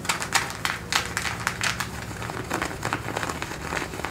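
Fingertips and nails scratch and rub worn blue denim jeans, thick cotton twill stretched over a raised thigh. Quick, dry, bright scratching strokes come in uneven bursts over a faint low hum, each stroke fading almost at once.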